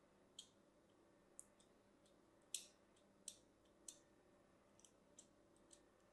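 A thin blade scores a solid, hand-sized white bar of soap in a grid pattern, making about eight short, sharp scratching cuts. Each stroke is a crisp, bright click that fades almost at once, spaced irregularly over a quiet, faint hiss.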